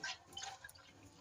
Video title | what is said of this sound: সিলিন্ডারে জল😮#saftyfirst #cylinders #froud #youtubeshorts #shortsvideo #ytviral | এবার গ্যাসটা নাড়ালে পরে দেখো, নাড়ালে পরে পুরো জল একদম ভেতরে।